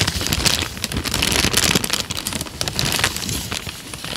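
A thin tan paper sheet is folded and rubbed between the fingers in front of the mic. It gives a steady, dense crinkling with bright, crackly highs, some low rumble underneath, and small swells in loudness as the paper is worked.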